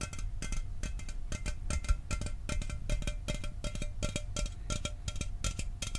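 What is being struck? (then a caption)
Aluminum soda can. A hollow Mountain Dew aluminum soda can is held in front of the microphone and tapped with fingertips and nails. The result is a fast, steady stream of short, bright metallic clicks over a low, boomy undertone, with a faint tonal ring running through.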